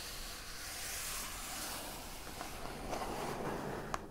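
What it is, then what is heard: Cardboard shipping box. Long acrylic nails on both hands tap and scratch the lid of a large, hollow, brown printed corrugated cardboard shipping box. A steady, soft, hissing rub of scratching runs throughout, with a few light taps near the end and a final brighter click.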